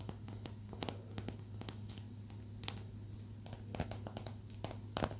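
Long acrylic nails tap along the surface of a small, solid palo santo wood stick held up in the air, making quick, dry, clicky taps at an irregular pace. A steady low hum runs underneath, and a few brighter, sharper clicks stand out near the end.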